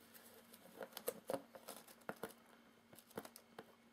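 Fingertips and nails tap and scratch the taped inner flaps of a hollow, medium corrugated cardboard box with its outer flaps open. About fourteen quick, dry, irregular taps come through, mixed with soft papery scratching and crinkling. Each tap has a muted, hollow knock around 500 Hz that dies away almost instantly, all at a low, close level.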